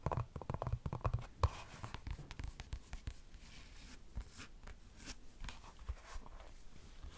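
A single tan, molded EVA foam slide sandal, solid foam with a ridged sole, is held up and scratched and tapped with long acrylic nails on its strap and ridged sole. Quick, soft, dull taps with a low, hollow thump come in busy bursts, mostly in the first second and a half, mixed with dry scratching across the ridges. The sounds are quiet and die away almost instantly.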